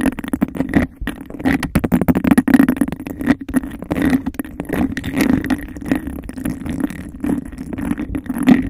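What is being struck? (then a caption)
Textured glass cup. Long nails scratch and tap fast and aggressively on the textured outside of a hollow, empty glass cup. The result is a dense, continuous stream of rough scraping and quick, dry clicks over a steady hollow low-mid ring, with no pauses.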